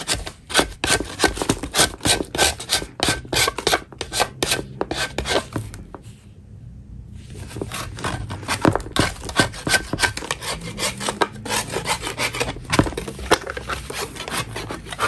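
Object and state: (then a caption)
Chalk block being scraped. A gloved hand scrapes the top of a solid chalk block with a metal putty knife. Quick, uneven strokes make dry, bright rasping scrapes with short gritty bursts. The scraping pauses briefly to a soft hiss around the middle, then resumes at the same brisk pace.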